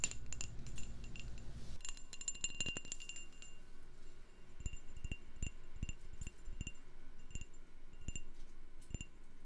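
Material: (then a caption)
Glass. A candle in a jar is tapped as an ASMR trigger, giving a series of bright, short clinks that ring with chime-like high tones. A soft low rumble underlies the first two seconds, then the taps continue over a quiet background.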